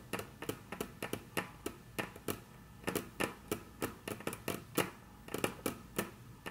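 Very long natural nails tap and trace across a flat, solid, dark brown wood-grain tabletop. Quick, dry, bright clicks come in an uneven run, with soft scratchy tracing filling the gaps between them.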